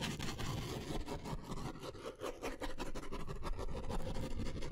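A blue ballpoint pen is drawn and scratched across a white paper sketch pad of thin stacked sheets, held upright in one hand, in quick scribbling strokes. A continuous dry scratching and rubbing rises and falls with each stroke, with a papery rasp over a fuller low rustle.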